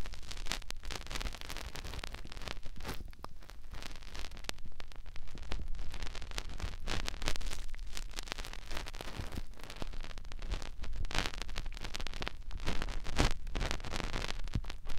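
Fingertips rub and press the outer ear of a soft silicone ear mounted on a large white, round binaural microphone. The result is a steady stream of close, crackly rustling and scraping over a heavy, deep rumble. Brief brighter scratches flare up now and then without pause.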